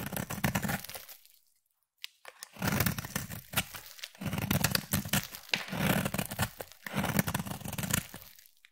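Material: Soap.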